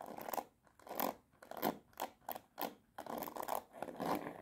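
Long nails strum and scratch across the many plastic pin bristles of a black plastic paddle hairbrush set on a rubber cushion. The result is a run of quick, irregular rasping strokes, each a dry ticking crackle centered in the midrange with bright edges. Short pauses fall between the strokes.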